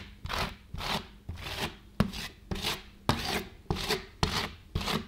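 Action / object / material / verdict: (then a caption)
scrape / thin frozen ice cream sheet on a stainless steel cold plate, worked with a flat steel spatula / ice cream, steel / none. A gloved hand works a flat steel spatula over a thin frozen ice cream sheet on a stainless steel cold plate, repeatedly scraping and patting the surface. Nine sharp taps are heard, each followed by a bright, gritty scratching rub, in a loose, uneven rhythm.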